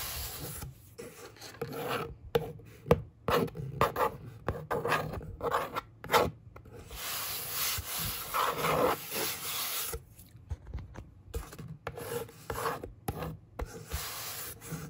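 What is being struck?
Corrugated cardboard box top.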